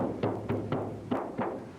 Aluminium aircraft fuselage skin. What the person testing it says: basically Hollow we have a very simple structure on the inside